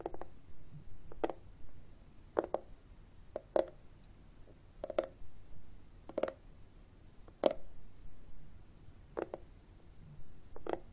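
Short fingertips and nails tap and scratch the top of a flat, hollow, book-sized external CD drive with a matte, textured black plastic casing, tilted up on a wooden table. Quick, dry plastic taps land one after another with a hollow, mid-pitched knock and almost no ring, and soft scratching fills the gaps between them.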